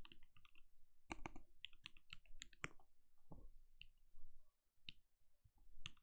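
Both hands' bare fingertips type steadily on a compact RGB-lit mechanical keyboard with a translucent plastic case and plastic keycaps, resting on a desk. The result is soft, irregular clicks and clacks with short, dull thocks and brief bright ticks.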